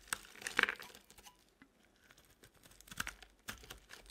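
A utility-knife blade carves shavings off the corners of a rectangular, solid, cream-colored bar of dry soap held in the hand. Crisp, bright scraping and crunching bursts are heard, loudest early on, then softer scrapes and a few sharp ticks with almost no low end.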